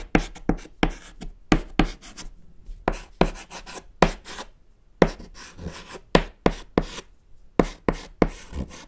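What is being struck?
Chalk stick on a small chalkboard panel.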